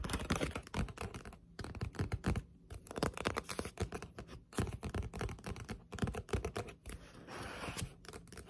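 Long pointed nails tap quickly on the cover and edge of a thick Death Note Black Edition paperback manga lying flat. The taps come as dense, dry, clicky bursts with a low papery thump and short scratchy strokes, each dying almost instantly, with a brief softer rustle near the end.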